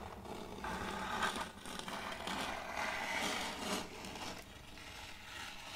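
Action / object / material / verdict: scrape / end-grain wooden board / wood / none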